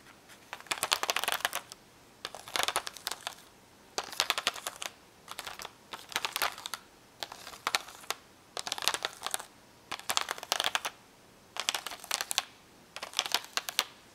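Long nails rapidly tap and scratch over the bubbles of a card-backed clear plastic blister pack holding hollow, colored plastic magnetic letters. Bright, crisp clicks and crinkly scratching come in repeated bursts separated by brief silent pauses, with no low-end weight and very little ring.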